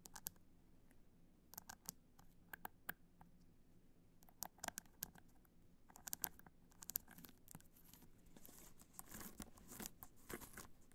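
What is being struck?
Rhinestone-covered hard-shell clutch.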